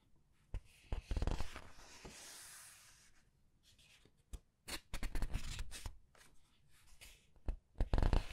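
Red-nailed hands rub and turn the glossy paper pages of a large open paperback art book one after another. Soft rubbing hiss alternates with sharp, crisp flaps and crinkles as each page is lifted and laid down, with a bright papery swish between the louder turns.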